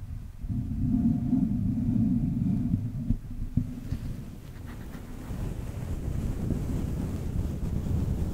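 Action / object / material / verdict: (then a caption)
scrape / synthetic fur microphone windscreen / synthetic fur / none. A fluffy grey faux-fur windscreen, soft and hollow over the head of a Blue Yeti USB microphone, is slowly and gently scratched all over with long painted fingernails and fingertips. This produces a deep, muffled rumbling rustle concentrated in the low end, with a dense band near 200 Hz for the first three seconds. Two sharper thumps follow, then the scratching continues as a quieter, broader, grainy brushing.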